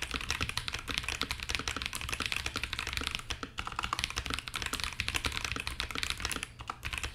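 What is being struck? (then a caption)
Mechanical keyboard with plastic keycaps in an acrylic case. Fingertips of both hands type continuously on a compact KBD67 Lite mechanical keyboard fitted with Akko CS Ocean Blue switches, plastic keycaps and a translucent acrylic case. Rapid, bright, short clacking keystrokes overlap in a steady stream over a faint low rumble.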